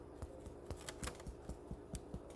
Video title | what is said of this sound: Challah Baking for Mel | I don't know if you can hear it but it sounds hollow inside